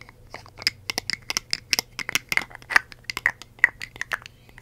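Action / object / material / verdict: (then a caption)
tap / glass perfume bottle with metal cap / glass / none. A red glass perfume bottle with a metal cap, holding liquid, is tapped and scratched with long acrylic nails. The result is a quick, irregular run of sharp, dry clicks and scratchy ticks, with a bright glassy ring around 1.9 kHz and almost no low end. Each tap dies away almost instantly.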